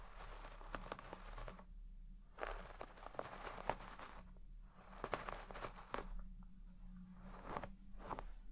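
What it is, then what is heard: Shag carpet being brushed. A wooden hairbrush with wooden pins is dragged through the deep pile of a large red shaggy textile carpet, brushing and scratching the fibres. Soft, crunchy scratching strokes come in bursts with brief quiet gaps between them, over a faint low hum. The sound is quiet and close, with short crackly ticks that die away almost instantly.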